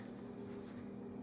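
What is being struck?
Nothing is struck.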